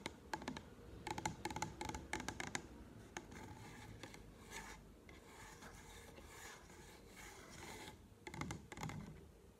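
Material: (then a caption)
Plastic. Manicured nails tap and scratch along the label of a tall blue plastic solution bottle held up close. A flurry of sharp, clicky taps with a slight hollow ring near 870 Hz opens the clip, giving way to a steady, bright scratching rasp across the label before a few more quick taps at the end.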